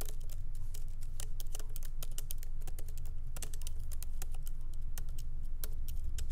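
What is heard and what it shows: Light fingertip typing with both hands on a MacBook Pro laptop keyboard, whose small plastic keycaps are set in an aluminum body, on a wooden desk. Quick, irregular streams of short, bright, crisp key clicks run steadily over a constant low hum.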